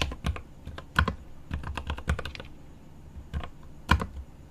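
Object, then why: Mechanical keyboard with plastic keycaps and aluminum case. Both hands type rapidly with their fingertips on a 75% mechanical keyboard with plastic keycaps on an aluminum case. The clip is a quick stream of short, clacky key taps with a deep, thocky low end and brief bright clicks. A few louder strikes stand out.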